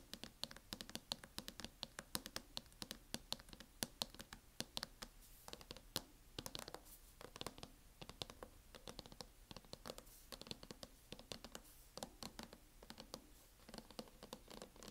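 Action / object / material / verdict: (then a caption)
tap / plastic laptop hard-shell case tapped and scratched with nails / plastic / none. Long acrylic nails tap and scratch across a closed MacBook in a mint matte plastic hard-shell case. The result is a rapid, uneven stream of quiet, dry, bright clicks with almost no ring, laced with soft scratching between the taps.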